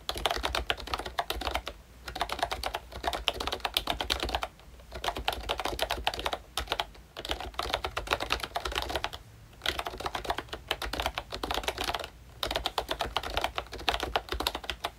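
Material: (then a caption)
Plastic. Fingertips of both hands type steadily on a full-size pink ROYCHE Disney Mickey Mouse retro membrane keyboard with a plastic case and round dark green plastic keycaps. The result is a rapid run of short, bright plastic clicks and taps that stop dead with no ring. Typing pauses briefly several times, leaving only a faint low hum.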